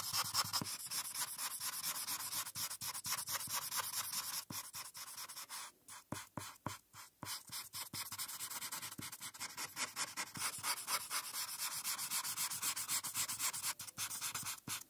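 A felt-tip marker is rubbed back and forth across a flat paper coloring page while filling in the blue background. The result is a steady run of bright, dry scratching strokes with almost no low end, briefly thinning into fewer, quieter strokes midway before the rapid scratching resumes.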